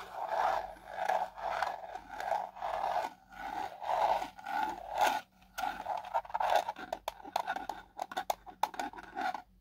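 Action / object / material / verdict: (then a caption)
scrape / hard plastic drone remote controller housing / hard plastic / none. A fingertip and short nail tap and scratch the battery cover panel on the back of a black hard plastic drone remote controller with a hollow handheld housing. Steady, rhythmic scraping strokes with a hollow midrange tone give way to quicker, sharper taps and short scratches, all close and dry with no ring.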